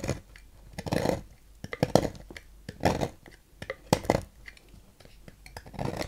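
A thin metal knife scrapes thin shavings from a solid blue Fax bar soap with a ridged carved face, held in hand. Soft, dry scraping strokes come in irregular bursts, each with a crisp, bright edge and no ringing, over a quiet background.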